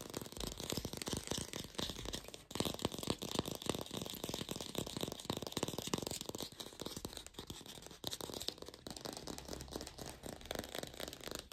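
An artificial plastic green apple is fast-tapped in a lo-fi recording without a microphone, giving a dense, continuous run of quick, dry, rattling taps with almost no ring. The sound stays busy and even throughout, with a bright hissy haze over the clicks.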